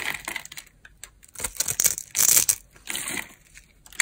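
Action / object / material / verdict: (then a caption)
scrape / pre-scored soap bar scraped with a metal blade / soap / none. A metal blade scrapes small pre-scored cubes off a dry, green solid soap bar held in the hand. Bright, dry crunching and crackling come in uneven bursts, mostly high-pitched with almost no low end, each dying away almost at once.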